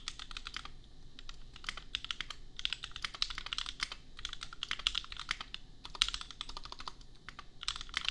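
A $250 custom compact mechanical keyboard with Gateron Milky Yellow switches and red and pink plastic keycaps is typed on with the fingertips of both hands. Steady runs of bright, crisp plastic clacks, centered around 3.8 kHz with very short decay, come in bursts separated by brief pauses.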